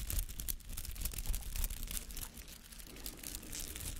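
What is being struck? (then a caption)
Soft rubber artificial flower with bristly petals. Fingernails scratch and rake through the many white-green bristly petals of a palm-sized artificial flower made of soft rubber. The result is a steady, dense run of dry, crackling scratches with bright, crisp edges over a low, muffled rumble, rising and falling slightly in loudness without clear pauses.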